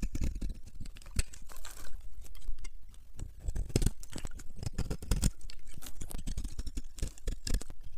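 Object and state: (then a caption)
Dry bar soap. A solid yellow bar of dry soap held in the palm has its surface scraped and scored with a metal knife blade, peeling off crunchy flakes. Dense, dry crunching and crackling scrapes come in quick bursts with a heavy low thump under them and brief bright edges, each sound dying away almost at once.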